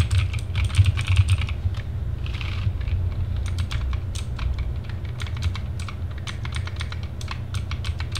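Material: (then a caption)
Plastic. Both hands type continuously with the fingertips on a TGT Sherman Mini compact RGB mechanical keyboard with plastic keycaps and case, resting on a desk. It produces rapid, bright, short plastic clicks and clacks over a steady low hum. The typing breaks briefly for a soft, hissy rustle before resuming.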